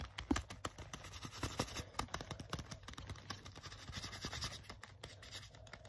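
Fingertips and short nails scratch and rub the smooth leather on the sleeve and front of a black leather jacket being worn, a soft, flexible material. Rapid dry scratches and light taps crackle close together, with bright hiss and a low rumble beneath, staying quiet and even throughout.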